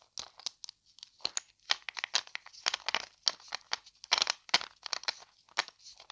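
A small hollow plastic vitamin C effervescent tablet tube with a paper label and white cap is held in both hands close to the mic while long dark nails tap, flick and handle the tube and cap. The result is an irregular run of crisp, dry, high clicks and crinkly ticks with no low end, each dying away almost instantly.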